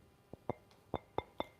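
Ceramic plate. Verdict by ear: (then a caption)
Well-fired. A restaurant ceramic plate with an unbroken edge, fired at about 1300 degrees, is tapped five times, each tap giving a short, crisp, pleasant clink with a mid-pitched tone and a bright, high overtone. The crisp ring marks it as a good-quality, well-fired plate.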